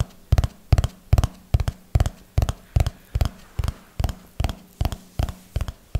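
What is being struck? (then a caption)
Hardcover notebook with paper pages. Fingertips and nails tap on the top edge and pages of a small, solid red hardcover notebook with tabbed paper pages, held in one hand. The taps come in a slow, steady rhythm, often as quick double knocks. Each is a short, dull, low thump that dies away almost at once, with a little bright clicking from the nails.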